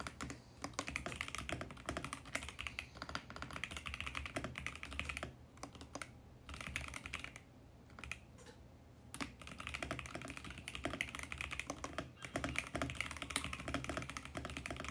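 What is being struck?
Mechanical keyboard with plastic case and keycaps.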